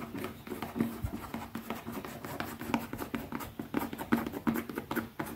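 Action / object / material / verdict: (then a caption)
tap / small leather zippered pouch / leather / none. Long fingernails rapidly tap the top face of a small, closed black pebbled-leather zippered pouch resting on one hand. The taps are short, soft, dull clicks in an uneven, continuous patter, with a faint steady tone underneath.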